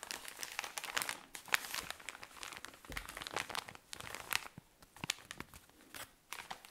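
A tall cylinder of cotton pads in thin plastic wrapping is squeezed and scratched with long nails. The result is a steady run of bright, sharp crinkles and crackles that come in dense bursts with brief quieter gaps, with almost no low end.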